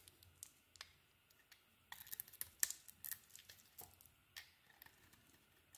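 A utility knife blade carves a solid purple and green bar of soap. About a dozen short, crisp scraping cuts are heard, quiet and bright with a dry hiss and almost no low end, each stopping at once with no ring.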